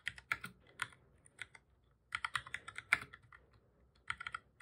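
Fingertips of both hands type on the plastic keys of a black full-size computer keyboard, producing repeated key presses. Bursts of quick, crisp, bright clicks with almost no low end come in three flurries separated by short pauses. Each tap stops dead with no ring.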